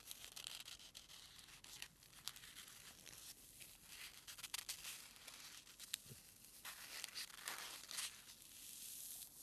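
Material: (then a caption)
Polystyrene foam. A single small white solid foam packing peanut is squished and rubbed between fingertips and thumb. It gives a quiet, continuous run of bright, high squeaky crinkling and scratchy creaks, with little low end and scattered sharper ticks throughout.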